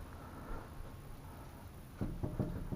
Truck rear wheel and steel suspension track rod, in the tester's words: You can actually hear it. There's probably a good 1/4 inch play in each direction.